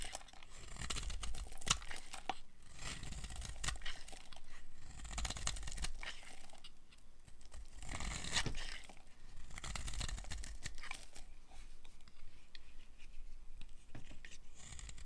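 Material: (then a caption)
Soap. A metal blade carves crumbly flakes off a green-and-white striped solid dry bar soap held in hand. The result is a steady run of dry, crisp scraping and crunching strokes, each with a bright, gritty edge over a soft low rumble. The strokes come in short bursts with no ringing after them.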